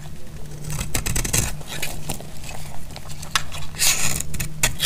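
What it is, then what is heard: Dry soap bar cut with a blade. A metal blade cuts into a dry, solid, light blue soap bar held in the hand, and flakes crack off. Repeated crisp, bright crackles and short scrapes sound over a steady low hum.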